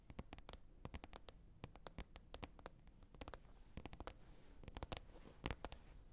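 Long red nails tap and scratch on a green plastic container lid, making around thirty quick, dry clicks over a soft scratching hiss. Each tap is a sharp, bright snap that dies away almost at once, while the overall sound stays quiet and weighted toward a low thud.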